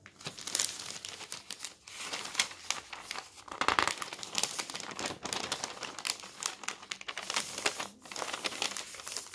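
A large newsprint newspaper lies open on a table while its thin, flexible pages are lifted, turned and rubbed flat with bare fingertips and the palm. Dense, bright crinkling and rustling rises and falls in short bursts, with almost no low end.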